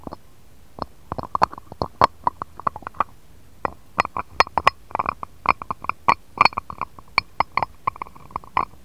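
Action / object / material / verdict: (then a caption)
tap / glass dish tapped with a stone roller / glass / none. A jade roller is rolled and tapped on an empty, shallow, round, clear patterned glass dish, then lifted away at the end. Dozens of short, dry, glassy clicks and taps ring around 1.1 kHz with bright upper overtones, in irregular bursts over quiet low hiss.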